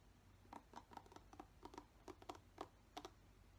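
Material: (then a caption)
Plastic. Fingertips brush and scratch the bristles of a black plastic paddle hairbrush. Quiet, quick, dry scratchy ticks land in an uneven series, each short with a papery, bright edge. A low, steady hum sits underneath.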